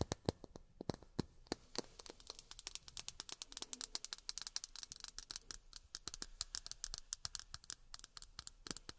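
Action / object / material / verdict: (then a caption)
tap / miniature plastic drinking glasses / plastic / none. Miniature plastic drinking glasses are tapped with long fingernails in quick, irregular bursts. Each tap is a sharp, bright click that dies away almost instantly, over a soft, quiet background.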